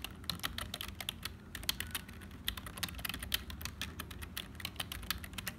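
Fingertips of both hands type continuously on a black HP full-size hollow plastic keyboard, producing about 35 rapid, bright, sharp clicks that die away almost instantly. A steady low rumble sits beneath the irregular stream of keystrokes.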